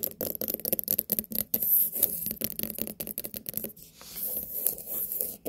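Long nails tap and scratch the rind of a large, whole white pumpkin with a sticker label, a solid fruit. Quick, dry, close-up clicks come in rapid bursts, mixed with soft scraping rubs that briefly fill the pauses between tapping runs.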